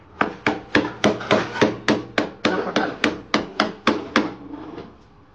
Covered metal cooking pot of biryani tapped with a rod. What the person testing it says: కొట్టినప్పుడు గుల్ల సౌండ్ వస్తే అయినట్టు లేదంటే మీకు గట్టిగా సౌండ్ రాదు